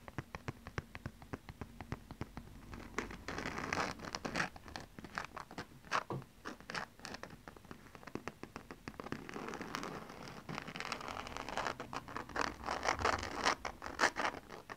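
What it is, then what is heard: Glitter fabric cosmetic pouch, scratched. A silver glitter-coated fabric makeup bag with a zipper, soft and hollow, is held close and scratched and tapped on its glittery surface with long painted nails. Dense, dry scratching and crackly clicks run throughout, with bright scraping bursts that swell louder toward the end.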